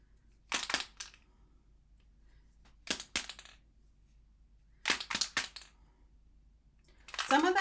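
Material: Plastic.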